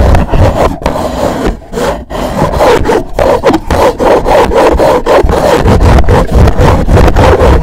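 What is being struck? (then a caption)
Rigid cardboard gift box. Fingers rub and scratch a hollow, black rigid cardboard gift box, producing a loud, rough, sawing-like scrape. The strokes come in a fast, loosely rhythmic back-and-forth, with a dull low rumble and a papery midrange rasp and very little brightness on top.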